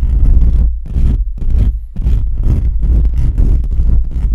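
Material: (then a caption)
Metal mesh. Fingertips of both hands quickly scratch and rub the bare perforated metal mesh grille on the hollow head of a black USB condenser microphone. The direct contact produces loud, deep, rumbling scratching in continuous bursts, with brief dips between strokes and a faint high hiss over the low boom.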